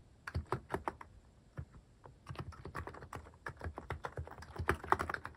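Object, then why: Plastic mechanical keyboard. A mechanical keyboard with a white plastic case and cat-shaped plastic keycaps is typed on with fingertips. A few spaced, short clacks with a low thock and bright click open the clip, then the keystrokes speed up into a steady, dense run of crisp taps that ends slightly louder.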